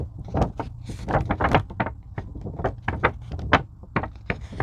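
Long pink nails scratch and tap across the surface of a thin purple-blue craft foam sheet, likely EVA, while both hands hold its edges. The result is a steady run of soft, muffled taps and brushy scratches, each with a dull low thud and a brief bright scrape that dies away almost at once.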